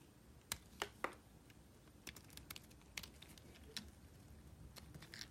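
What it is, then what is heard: Bar soap being sliced. A solid white bar of soap held in the hand is cut into slices with a small metal blade. Each cut makes a short, crisp, bright click or snap, with several scattered over quiet, faint background noise. Softer scraping and crackling sounds come between them.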